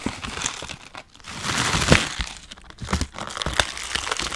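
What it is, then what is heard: Bag of dry noodles, crinkled and crushed. A full plastic bag of dry Chinese noodles is turned over, crinkled and squeezed with gloved fingers. Bright, irregular crinkling of the plastic mixes with sharp crunches of the dry noodles inside, swelling to a loud burst near the middle before settling into quieter rustles.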